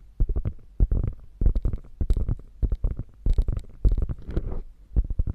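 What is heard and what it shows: Long fingernails scratch across the stitched diamonds of a padded quilted panel on a hollow, beige quilted faux leather bag. The result is bursts of quick, muffled scratching with a deep, boomy low end, coming in irregular clusters separated by brief pauses.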